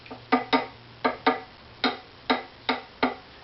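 The two sides and the middle of a wooden violin scroll, from an Opus 4 violin, are tapped in a tap tone survey, giving nine short, dry knocks, several in quick pairs. Each knock has a woody tone around 250 Hz that dies away almost at once. The two sides sound very close in tone, so the scroll is judged even.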